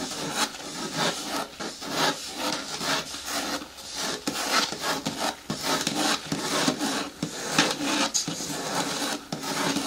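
Long nails scratch the sides of a hollow, medium-hard green plastic bin with a lid. The result is a steady run of dry, rasping scratch strokes with a bright, hissy edge and a faint hollow body, with little low end.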